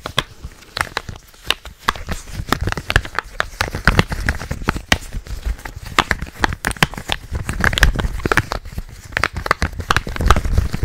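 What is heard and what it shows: A purple, hollow plastic game controller is handled with both hands as fingertips tap and click on it. The result is a steady, dense stream of quick, dry taps and crisp clicks, with hollow low thuds under bright, sharp snaps and a faint crinkly texture between them.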